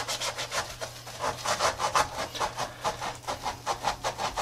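A gloved hand briskly scrubs the foam-and-rubber midsole of a tie-dye Adidas textile and rubber sneaker with a soapy brush while the shoe lies on its side on a granite counter. Rapid, evenly spaced rubbing strokes give a bright, hissy, scratchy swish centered around 850 Hz and reaching high, each stroke fading quickly.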